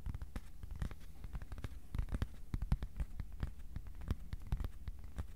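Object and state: Thin cardboard sheet tapped with fingertips.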